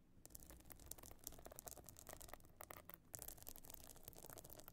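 Long nails scratch across the stone-chip encrusted top of a closed pebble-encrusted metal-frame clutch bag lying flat. The result is a steady stream of bright, crackly scrapes and quick ticking clicks over a low, constant hum.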